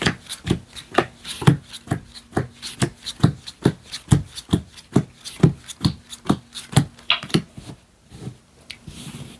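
A standard deck of thin paper or cardstock playing cards is held in both hands over a black felt close-up mat while fingertips square up, riffle and shuffle the cards, rubbing and flicking the card edges. A steady run of about thirty short, soft thumps with crisp bright edge clicks comes in an uneven rhythm, then fades to a quiet rustle at the end.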